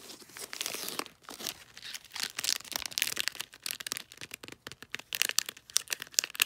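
Fingertips and nails scratch and crinkle the folded top of a cylindrical gift wrapped in light blue, bulldog-print glossy wrapping paper. The result is a dense run of dry, bright crinkles and scratchy ticks with almost no low end, each sound cutting off instantly.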